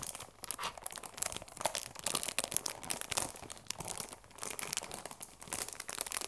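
Fingers rub and crinkle the cellophane wrap on a cardboard tea box. The result is dense, bright crackling and crinkling with little low end, rising and falling in bursts of sharp, dry snaps throughout.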